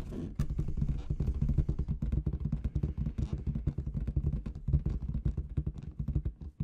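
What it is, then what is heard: Latex confetti balloon. Long red nails tap rapidly, like typing, on a large inflated clear latex balloon with confetti inside. The result is a dense run of short, dull, low thumps with faint bright ticks, each dying away almost at once.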